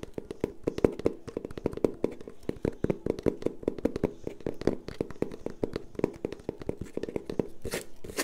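A long, hollow, empty brown cardboard tube is held horizontally and tapped quickly with long painted nails and fingertips. The result is a dense stream of short, dry taps with a hollow midrange tone, and a brief brighter scratchy burst near the end.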